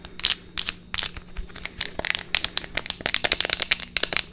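Long fingernails tap and scratch a small cylindrical plastic tube of effervescent vitamin C tablets with an orange plastic cap, likely with the tablets still inside, while it is turned in the hands. About two dozen quick, bright, crisp plastic clicks and scrapes follow in an uneven rhythm, with a faint steady low hum underneath.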